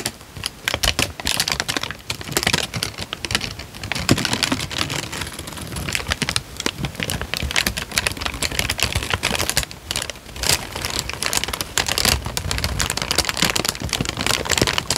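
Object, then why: Thin paper sheet. A thin light-brown paper sheet with many creases is held in both hands while the fingertips crinkle and flex it. The result is a steady stream of dense, bright crackling made of many short, sharp snaps, with only a little low rumble underneath.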